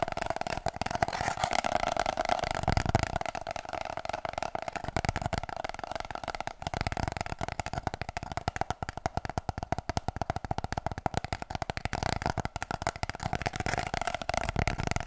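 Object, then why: Cardboard paper-roll tube. Long painted nails tap rapidly and scratch along the spiral-seamed surface of an empty, hollow brown cardboard kitchen-roll tube held upright in both hands. The dense, fast clicks carry a steady hollow resonance around 700 Hz, with light scraping in between.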